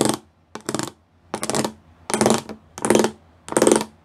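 Fingertips and nails tap the rows of small square pyramid studs on a flat grey plastic sheet. The result is six short bursts of rapid, crisp plastic clicking with a bright edge and a hollow midrange body, separated by brief quiet gaps.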